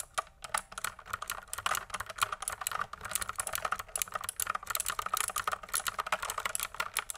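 Fingertips type on a full-size pink mechanical keyboard with plastic keycaps and a hollow plastic case, held up with a coiled cable attached. A steady run of quick, dry clicks and clacks follows, bright and light with almost no low end. Each keystroke dies away at once.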